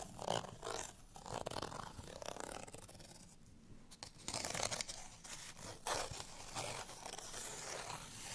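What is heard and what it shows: A small, thin, flat printed cardstock bottle tag is held in the hand and scratched with fingernails across its printed surface. The result is dry, bright, papery rasping in uneven bursts of quick strokes that swell and fade over the clip.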